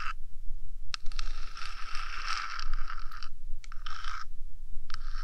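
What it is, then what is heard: Metal microphone body scratched with nails. Long dark nails of both hands scratch and tap the flat top of a 3Dio binaural microphone's hollow, boxy metal body, which houses electronics, while the rubber ears stay untouched. Bursts of dry, bright scraping alternate with short quiet gaps over a steady low rumble.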